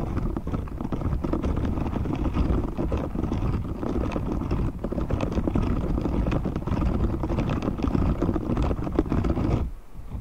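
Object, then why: Silicone scrubber glove with short bristles. A hand-sized, thin and flexible grey silicone cleaning glove with dense short spiky bristles is held up away from the mic while fingertips scratch across the bristles. The result is a steady, low, rumbling stream of soft scratchy rustling with many rapid small ticks. It runs evenly for about nine and a half seconds before dropping off near the end.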